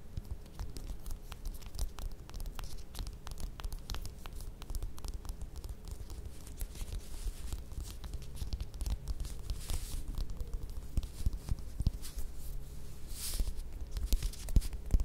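Long red acrylic nails tap and scratch the dimpled peel of a small, solid whole orange or mandarin held in both hands over a glittery mat. A dense, steady run of soft, dull taps and rasping scratches continues throughout, mostly low in tone, with a faint steady hum underneath. The sound grows slightly louder toward the end.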